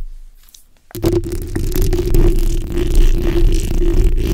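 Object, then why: Steel mesh microphone grille. The backs of long acrylic nails on both hands scratch the hollow steel mesh grille of a fist-sized black microphone. After a near-silent first second, a dense, continuous scraping rumble begins, heavy in the low end with a steady hum-like tone running beneath it. It stays at a fairly even loudness until the end.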